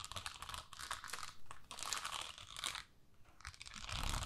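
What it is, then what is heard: Plastic rhinestone sticker sheet. A flat, flexible plastic sticker sheet with rows of pink plastic rhinestones is held up and then held flat while long nails scratch and tap the gems and flex the sheet. Dense, crackly bursts of crunching and crinkling come in irregular clusters with bright, high texture. Quieter pauses fall between the bursts, and there is some low rumble of handling.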